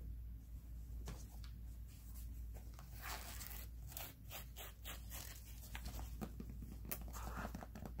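Fingertips and nails scratch and tap a black and white mesh running sneaker with a synthetic mesh upper and foam sole. Soft, quiet rasping scrapes with bright hissy bursts mix with light dull taps over a steady low hum.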